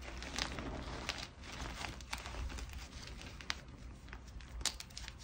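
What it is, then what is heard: Gym chalk chunks being crushed. A heap of white gym chalk chunks and powder (magnesium carbonate), some hard and some soft, is grabbed and squeezed by the handful with both hands while fingertips crush the solid, crumbly pieces. A steady gritty crunching and crinkling runs throughout, punctuated by sharp, bright cracks as pieces break, over a low, muffled rumble.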